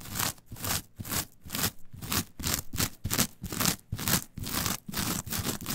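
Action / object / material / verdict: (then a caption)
scrape / coir fiber mat / coir fiber / none. Long nails scratch and rake across a flat, coarse, brown coir fiber mat, pulling the fibers toward the center. The result is a rapid series of dry, bright scraping strokes with a rustling, brushy texture. The strokes come in short, uneven bursts separated by brief pauses.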